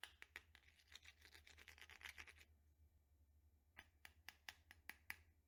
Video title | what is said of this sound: Perfect Vanilla Bourbon Rich And Creamy Crème Brûlée Recipe | hearing the crack of it where it kind of sounds like glass